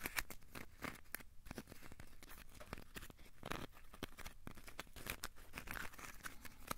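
A small, solid, crumpled ball of aluminium foil is squeezed and scratched with the fingertips. It makes quiet, continuous crinkling and crackling, with sharp, bright snaps scattered throughout over a soft, scratchy hiss.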